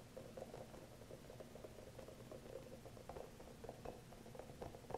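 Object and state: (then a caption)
Rubber spiky massage ball. A small green hollow rubber massage ball with soft spikes is held close as fingernails tap and scratch its surface. Soft, quiet, rapid tapping and scratching patters on with a hollow mid-range tone, its short ticks dying away almost at once.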